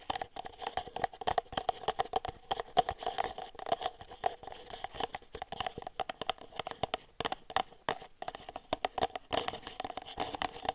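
An empty red disposable plastic party cup, hollow with its open end facing the mic, is tapped on the bottom and sides with long nails. The result is a fast, irregular run of light, dry clicks with a hollow plastic tone near 730 Hz, each dying almost instantly.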